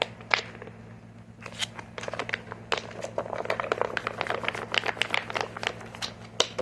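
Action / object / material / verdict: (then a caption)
tap / plastic squeeze tube / plastic / none. A medium green, hollow, flexible plastic squeeze tube with a white cap is held, squeezed and tapped with short fingernails. It gives a dense run of quick, bright crinkling clicks and taps that start sparse and grow busier, over a faint steady low hum.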